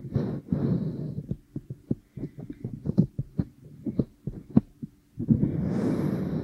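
Long painted nails and fingertips rub and press over a pair of soft, solid, flesh-coloured silicone dummy ears on a binaural microphone, possibly dusted with baby powder, in a massage motion. Muffled, low-heavy rubbing opens and closes the clip, and in between comes a quick run of short, soft, thumping presses and taps.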